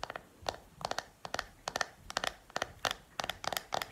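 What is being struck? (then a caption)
Small plastic makeup compact. Long painted nails tap on the lid and back of a small, round, hollow black plastic makeup compact powder case held up in the air. The taps come as quick, dry, bright clicks in short clusters of two or three, each dying away almost instantly with no ring.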